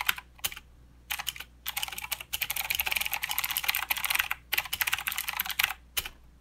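Both hands type with their fingertips on a full-size mechanical keyboard with plastic keycaps and blue clicky switches. Bursts of sharp, bright clicks run in fast uneven runs with short pauses between them. There is almost no low end.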